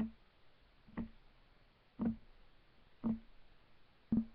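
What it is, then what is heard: Solid wooden table top. Fingertips of both hands tap quickly on a solid, flat, light wooden desk top, making four short, dull knocks about a second apart. Each tap has a low woody thump near 220 Hz that dies away almost at once, over a faint quiet background.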